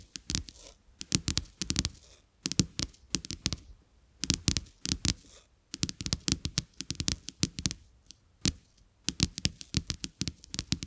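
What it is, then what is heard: Paper playing cards. Fingertips and short nails of both hands tap and scratch two thin, solid, flat coated-paper playing cards with a black-and-white checked back, lying side by side face down on a dark carpet. The result is quick bursts of crisp, dry clicks and papery scratches, bright on top with a soft low thud underneath, that stop dead with no ring. Short quiet gaps separate the bursts.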